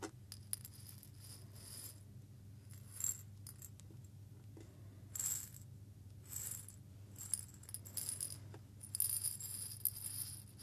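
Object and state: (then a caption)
Glass jar with small seeds. A small clear glass jar with a metal lid, holding a little loose content of small seeds, is rotated and shaken in both hands near the face. Quiet, bright bursts of seeds rattling and trickling against the glass come in irregular waves over a steady low hum.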